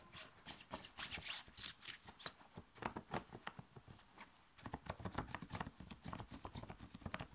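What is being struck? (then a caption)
Thin cotton t-shirt. Fingers scratch and pull at the chest of a thin, worn, light blue cotton t-shirt in fast, vigorous strokes. The result is a dense run of short, dry, bright rasping bursts with a soft low thump under each stroke. There is a brief quieter lull just past the midpoint before the scratching picks up again.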